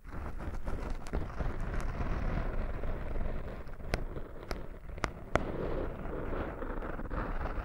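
The fingertips and short nails of a right hand scratch and rub the top and side of a small black foam windscreen over a microphone. The result is a dense, muffled, bass-heavy rustling roar, broken by occasional sharp, bright crackling pops.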